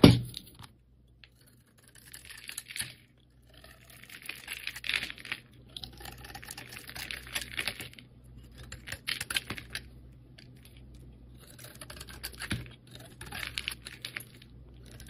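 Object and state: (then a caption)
Glitter-coated soap bar being carved. A solid rectangular soap bar with a multicolored glitter coating and a cream core is scraped and carved with a metal blade held in the hand. A sharp tap at the start gives way to bursts of dry, crackly scraping and flaking that come in clusters, separated by quiet pauses, with a bright, gritty texture and a faint low hum underneath.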